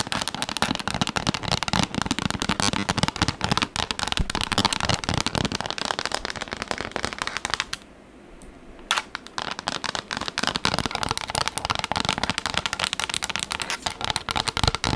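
A pink textured plastic tablet case, likely holding a tablet so it is flat and rigid, is held in both hands and rapidly tapped and scratched with long pink acrylic nails. The result is a dense, bright, crackly stream of clicks and scrapes. It pauses briefly to a quiet hush near the middle, then resumes just as fast.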